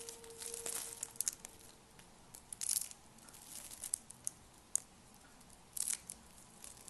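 Thin, ribbed green and pink dry soap curls are crushed and broken between fingers with lavender-painted nails above a pile of soap flakes. Quiet, bright crinkling crunches come in short bursts, with sharp dry snaps scattered between them.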